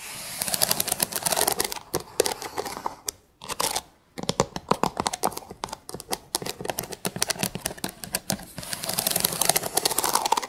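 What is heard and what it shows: Long pink acrylic nail tips tap and scratch along the ridged edges of a stack of thin, light, unfinished wooden sticks set edge to edge. The sound is a rapid run of sharp, dry clicks over a bright, hissy scratching, with two brief pauses near the middle before the tapping resumes.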